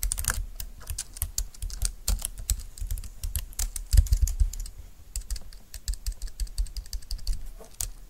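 Fingertips and long nails type steadily on the keys of a compact, thin, dark-green plastic Bluetooth wireless keyboard lying on a desk mat. A rapid stream of short, dry clicks and taps with bright key edges over a low thump runs throughout, with no ring after each press.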